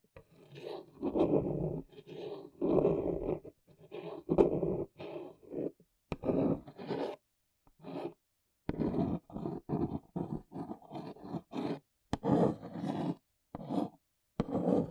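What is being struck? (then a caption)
Corrugated cardboard box. Fingernails trace long strokes and scratch across the printed logo on the face of a large, hollow, brown corrugated cardboard box. The result is a series of dry, raspy scraping bursts with a hollow, mid-range body, separated by brief pauses, with an occasional sharper tick.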